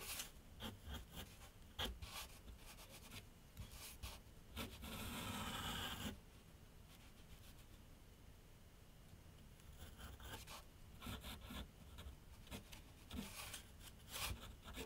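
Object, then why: Graphite pencil on a paper sheet on a board. A graphite pencil scratches short sketch strokes across a large flat sheet of white paper on a board set on an easel. Quick bursts of dry, bright scratching are interrupted by one longer, steady stroke, followed by a quiet stretch with a low rumble before the short strokes resume.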